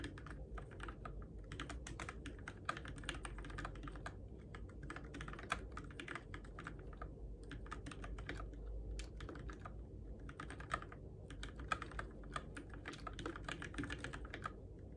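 Fingertips type steadily on the plastic keycaps and switches of a Keychron K6 compact RGB-backlit mechanical keyboard in the dark. A continuous stream of quick, bright clacks rises over a steady low hum, with a few louder key strikes standing out.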